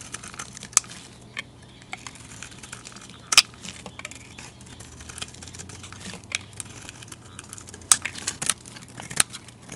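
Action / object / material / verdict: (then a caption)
scrape / soap bar shaved with a blade / soap / none. A utility knife blade shaves flakes off a solid, rounded, rectangular white bar of soap with a green rim, hand-sized and held in a hand with long dark nails. Soft, crisp, high scraping and crinkling runs throughout, broken by several sharp, bright clicks as the blade bites. The sounds are dry with no ring, over a faint low hum.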